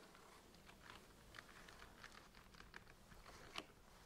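Fingernails scratch and tap across the tops of the blue plastic screw caps on a large rack packed with hollow plastic centrifuge tubes. The result is a quiet string of short, bright plastic clicks over a soft scratchy rustle, with one sharper tap standing out near the end.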